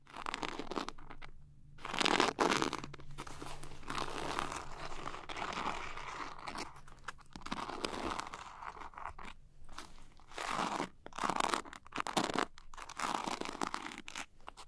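Long nails scratch and tap the sparkly surface of a small, closed, glitter-coated zippered cosmetic pouch held in both hands. The result is dense, crunchy, scratchy bursts that swell and fade, centred in the mids with a bright edge, over a faint low steady hum.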